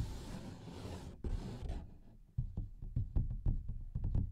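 A large, thin paper coloring book page with a printed pattern is held upright in both hands in front of the mic while fingertips and nails tap rapidly on its surface. A soft, broadband papery rustle over the first two seconds gives way to a quick run of dull, low, short taps with almost no ring.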